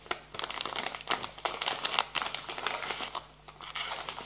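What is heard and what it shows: Fingertips and nails tap and scratch a soft plastic pouch of wet wipes while it is pressed and crinkled on a table. Dense, bright crackling and crinkling bursts rise and fall with almost no low end. Each sharp tick dies away instantly, with no ring.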